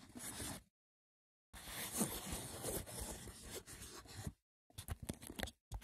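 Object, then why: Woven wicker box. Fingertips with short nails scratch the braided top of a small, hollow, rectangular woven wicker box with a lid. Rough, dry scratching sounds come in bursts separated by short silences. The final bursts break into quick, separate scrapes.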